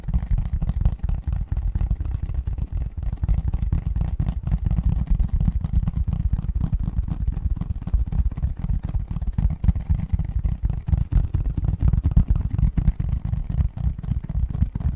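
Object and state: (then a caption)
Cardboard gift box lid tapped and scratched. Fingertips and nails tap and scratch the printed surface of a medium-size, hollow cardboard Christmas gift box lid with a snowman and tree design, held upright in both hands behind the microphone. A steady stream of quick, dull, low thumps and soft scratches fills the whole clip, with almost no brightness and very short ring.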